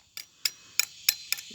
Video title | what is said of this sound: How To Make Fake Stone - [Part 2]. Adding Color | because it rings like that, you can hear it ring. That's when you know it's getting a good cure on it.